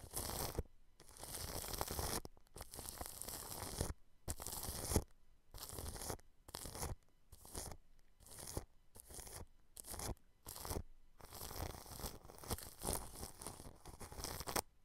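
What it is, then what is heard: Cling film over a microphone, brushed. A large blue-bristled paintbrush sweeps across clear plastic cling film wrapped over a microphone grille. It makes crinkly, scratchy brushing strokes with a heavy low rumble and bright hiss. The strokes come in bursts of varying length separated by brief silences, ending in a longer stretch of continuous brushing.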